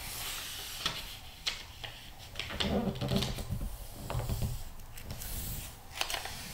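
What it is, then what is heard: Glossy magazine pages rubbed and turned. Fingertips rub the pages of a thick glossy magazine lying open, pressing them flat and turning them. Soft papery rustling and smooth brushing run throughout, broken by sharp crisp flicks with a bright hiss as pages turn, plus a low muffled rumble underneath.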